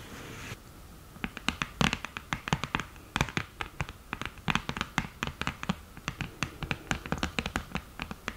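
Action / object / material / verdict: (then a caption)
tap / cardboard eyeshadow palette with mirror lid / cardboard, glass / none. Long green nails tap and scratch on the mirror lid of an open cardboard eyeshadow palette. After a brief burst of soft hiss, there is a quick, irregular run of sharp, dry clicks with light scraping between them. Each tap dies away almost at once.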